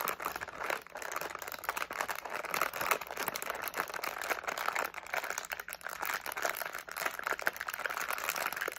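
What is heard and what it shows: A medium flexible plastic SweeTARTS candy pouch with candies inside is held in both hands while fingertips crinkle, squeeze and shake it. A steady, dense crinkling and crackling runs the whole time, bright and papery, with little low end, in short, sharp bursts.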